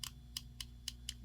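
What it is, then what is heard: Hollow plastic action figure back. Small plastic symbiote pieces on a Riot action figure tap against the figure's hollow plastic back, making five short, bright, dry clicks with almost no ring. The hollow back makes the clicking sound annoying.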